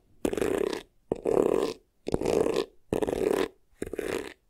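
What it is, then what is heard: Faux leather vanity case, scratched. Short nails scratch the textured front and top edge of a hollow black crocodile-embossed faux leather vanity case in five quick bursts separated by brief pauses. Each burst is a dense, rasping scrape with a hollow, boxy midrange body and a faint bright hiss.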